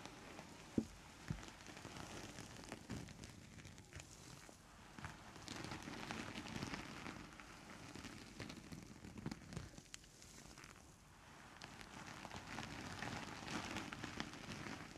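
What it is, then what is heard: Faux fur rug being brushed. Both hands in purple textured brush gloves sweep and rub a large grey long-pile synthetic faux fur rug lying flat on a table. The result is a quiet, continuous, crackly swishing that swells and fades in waves, with soft irregular scratches and brighter rustle across the strokes.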